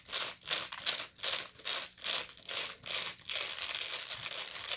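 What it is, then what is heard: Woven straw bag being scratched. Long nails scratch the rounded woven bottom of a medium, hollow woven straw bag. Eight separate bright, dry, rasping strokes rise and fall before the scratching runs together into a steady, continuous high crackle. There is almost no low end, and the strokes die away quickly.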